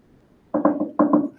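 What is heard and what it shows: Knuckles rap a laminate-covered tabletop "for luck" in two quick bursts of knocks. Each knock is a short, dull, hollow-sounding tap with a mid-range tone and almost no ring. The surface is laminate rather than solid wood.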